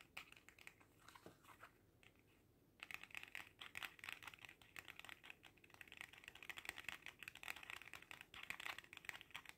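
A small red faux leather coin purse shaped like a cat's face is held in the hands and tapped quickly with the fingertips. The taps are dry, soft and crinkly with a bright edge and no ring. After a short quiet pause early on, the tapping comes back louder and denser.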